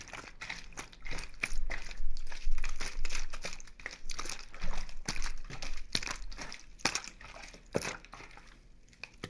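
A small, clear plastic water bottle with a purple label and cap, hollow and partly filled with water, is held in one hand and squeezed and crinkled by the fingers right beside the ear. Irregular bursts of sharp crinkling and crackling plastic come in rapid clusters over a deep, muffled low-end rumble, with faint sloshing in between.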